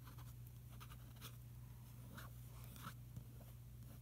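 A fingertip traces across the Finaflex ad page of an open glossy paper magazine lying on a carpet, staying on the same spread throughout. Soft, dry brushing and scratching strokes come and go quietly over a steady low hum around 117 Hz.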